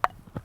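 A hammer taps a rock face to check it for weaknesses before a 12 mm bolt is placed. Two short, sharp taps are heard, about 0.4 seconds apart, each with a bright ring near 730 Hz that dies away almost at once.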